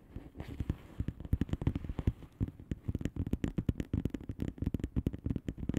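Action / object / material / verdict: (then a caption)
tap / plastic bubble wrap envelope / plastic / none. Long painted nails on both hands tap quickly on a flat blue plastic bubble wrap envelope filled with air bubbles. The result is a rapid, uneven patter of short, quiet, dull taps with soft clicking edges, mostly low in tone and dying away almost instantly.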